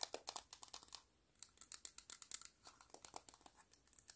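Long pointed nails tap and scratch a palm-sized, green, hollow vinyl Sumikko Gurashi penguin figure in a quick run of about 27 quiet, bright, clicky hits with almost no low end. The taps briefly pause around the one-second mark, then resume in a steady stream.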